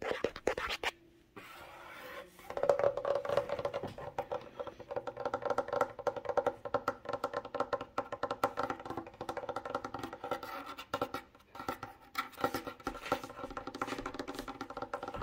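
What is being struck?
Wooden tabletop.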